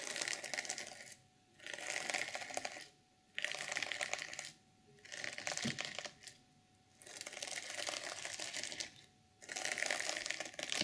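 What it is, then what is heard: Sequin fabric journal cover being scratched. Long nails scratch across the flat sequins at the top of a reversible sequin fabric journal cover, making bright, crackly, rasping scratches. The scratching comes in repeated bursts of about a second each, separated by short quiet pauses.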